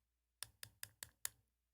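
Five quick, sharp taps on a plastic palatal obturator, a prosthetic roof of the mouth that replaces a palate lost to cancer. The clicks are bright and dry, with almost no ring, and sound like tapping on teeth.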